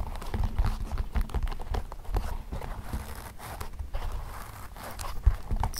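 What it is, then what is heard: Leather shoes. Fingertips tap the insoles and toe caps of a hollow, empty pair of black leather Mary Jane shoes with elastic straps resting on carpet, occasionally plucking a strap. The result is a steady run of soft, dull, low thuds with almost no ring, each tap muffled and quickly damped.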